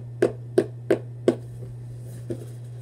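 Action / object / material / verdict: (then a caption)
tap / cardboard shoebox / cardboard / none. Fingertips tap the top edge and side of a hollow Vans cardboard shoebox held upright, giving five short, dull, hollow knocks centered in the low mids. Four evenly spaced taps come quickly, then a softer fifth follows after a pause, each dying away almost at once over a steady low hum.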